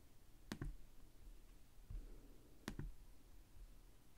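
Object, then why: Plastic laptop keyboard keys. Fingertips tap the plastic chiclet keys of a black laptop keyboard resting on a desk. Four short, quiet clicks come in two close pairs, each dying away almost at once, with a soft low thump between them and a faint low hum underneath.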